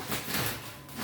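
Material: Nothing is struck.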